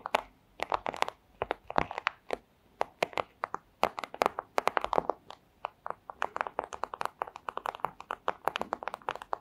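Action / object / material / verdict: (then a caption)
tap / thin clear plastic sleeve / plastic / none. Long acrylic nails tap and scratch a flat, thin, clear plastic pouch. The result is a rapid, irregular stream of sharp crinkly clicks and crackles that die away almost instantly. The sound centers in the midrange with bright edges.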